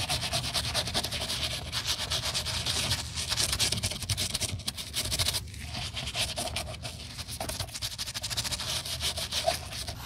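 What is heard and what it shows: A white-bristled plastic toothbrush, held in a gloved hand, scrubs the cream rubber toe and midsole of a canvas sneaker that is held upright and carries a light paste residue. Rapid, steady bristle strokes make a bright, hissy scratching with a faint tonal edge. The strokes run continuously for about ten seconds, with brief dips in loudness.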